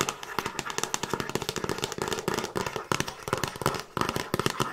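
Long nails tap and scratch the front and top edge of a handheld Frasier season DVD box set, a hollow box with a glossy printed cardboard slipcase and discs inside. Rapid, dry, sharp clicks die away almost instantly, mixed with a bright scratchy rasp.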